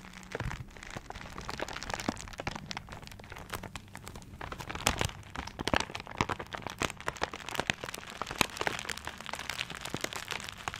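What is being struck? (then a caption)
Gift wrapped in paper. Fingers scratch and rub the surface of a tiger-print, paper-wrapped gift held in both hands. The result is a steady run of dry, bright crinkling and scratching, dotted with many sharp little crackles over a faint low hum.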